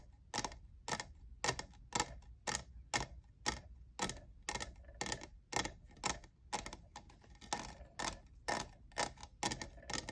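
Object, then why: Textured plastic cup. Fingernails tap the sides and logo of a hollow, lavender, diamond-textured plastic cold-cup tumbler. Each tap is a short, bright plastic click with almost no ring, repeating at a loose, somewhat uneven pace of about two per second. A faint low rumble runs underneath.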